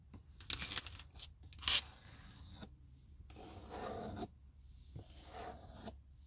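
Long nails scratch and rub a textured plastic car dashboard panel near the vent, its hollow shell adding a faint body. Quick, bright raspy scrapes come first, followed by longer, steadier rubbing strokes with a dry, hissy texture.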